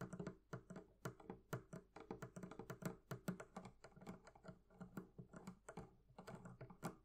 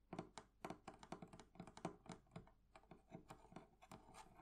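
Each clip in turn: First: leather covering on a barrel chest. Second: metal fittings on a wooden chest.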